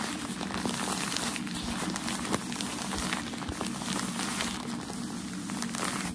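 Crumpled white shoe packaging paper is held in the hands and rubbed and scratched with fingertips and nails. The result is a steady, dense crinkling and crackling that spreads from low rustle up into bright, hissy texture, with one sharper crackle partway through.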